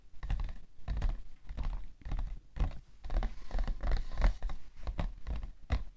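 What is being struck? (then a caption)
Cardboard tissue box. Long nails and fingertips tap on the side panel of a hollow, printed cardboard tissue box. The result is a quick, irregular run of soft, dull, low thumps and patters, each dying away almost at once with no ring.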